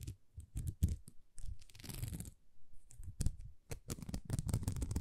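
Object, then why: Plastic rhinestone sticker sheet. A thin, flexible sheet of small plastic rhinestone stickers is scratched with long nails, giving quick, dry crackling scratches with soft low thumps. A longer rustling scrape sounds near the middle. The sound stays quiet and close.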